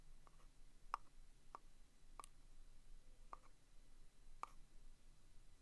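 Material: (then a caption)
Cardboard. A wooden stick taps and traces the printed lid of a small round cardboard box of vintage Bear Brand thumbtacks, held between the fingers. Five soft, short taps with a hollow pitch near 1.2 kHz stand out over a very quiet background, each dying away almost at once.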